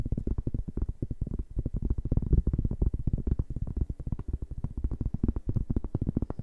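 A large, round, flat cork board, solid and thin, is held in both hands and tapped and scratched with fingertips and nails. The result is a rapid, continuous run of soft, dull, low thumps that die away almost instantly, with very little brightness above them.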